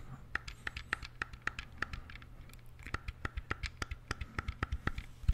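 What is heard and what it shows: A small, hollow, black plastic wired Sega-style game controller is held close to the mic while fingertips and nails click and scratch its buttons and d-pad. The result is a quick, uneven series of sharp, dry clicks with a hollow plastic tone around 1–2 kHz and bright edges, plus light scratching between presses. A steady low hum runs underneath throughout.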